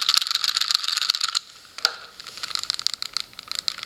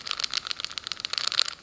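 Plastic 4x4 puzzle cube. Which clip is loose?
The first.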